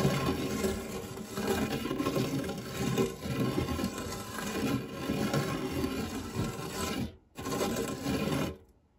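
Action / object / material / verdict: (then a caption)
scrape / metal tart tin / metal / none. A silicone spatula scrapes flat across the dark, textured nonstick base of a shallow, round fluted metal tart tin that is empty apart from crumbs. The sound is a continuous, gritty, low-heavy rubbing and scraping. It drops out briefly near the end before one last pass fades away.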